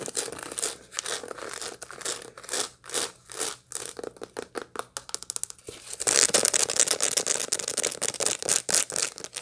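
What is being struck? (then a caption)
Dried sunflower seed head. Long light-blue nails scratch across a dried sunflower head still full of seeds, making quick, dry, crinkly scrapes and ticks that come in uneven bursts. The first six seconds are softer and choppier. The rest turns into a louder, denser, bright scratching.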